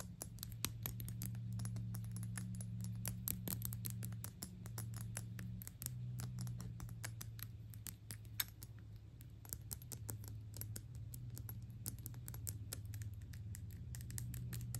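Long acrylic nails tap rapidly on a gold metal perfume cap with a ring detail, producing a dense stream of sharp, bright clicks with very short ring. The tapping is fast and somewhat irregular at a quiet level, over a steady low hum.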